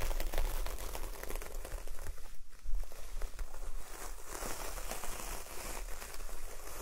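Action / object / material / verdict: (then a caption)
scrape / coconut coir door mat / coconut coir / none. A large coconut coir door mat, partly lifted, has long nails scratching along its coarse fibre surface. The result is a dense, continuous crackling scrape with a steady low rumble underneath.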